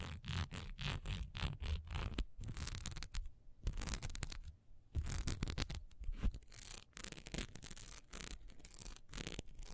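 Long nails scratch rapidly along the raised diamond texture of a single solid wax pillar candle as it is held, tilted and set upright. The result is a quick run of dry, bright scraping strokes with brief pauses between bursts, over a low, dull handling thump.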